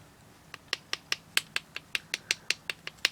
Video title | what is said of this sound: How to make Sand Cores for Cavities in Castings | nice and smooth, so it's pretty hard throughout